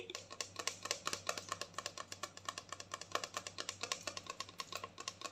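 Long nails tap rapidly on a clear plastic mouthwash bottle filled with blue liquid while it is held. About forty short, crisp, bright clicks with a hollow plastic tone die away almost instantly, over a faint steady low hum.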